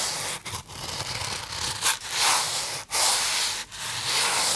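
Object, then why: Polystyrene foam box. Fingertips rub the surface of a small white polystyrene foam box held in both hands, producing a bright, hissy, scratchy squeak with almost no low end. The rubbing runs in a few continuous strokes broken by brief silent pauses.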